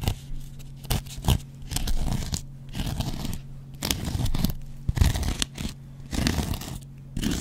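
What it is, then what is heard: Cellulose kitchen sponge scraped with a blade. A metal double-edge razor blade scratches the yellow foam surface of a hand-sized dry kitchen sponge made of yellow cellulose foam with a green scouring pad. Repeated short, crunchy, tearing scratch strokes come in bursts separated by brief quiet gaps, over a steady low hum.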